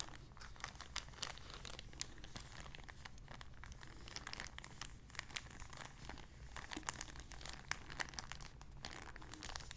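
A small, empty, clear plastic zip-lock bag is crinkled and scrunched with fingertips and nails. The result is a quiet, continuous stream of crisp, bright crackles and sharp crinkles over a steady low hum.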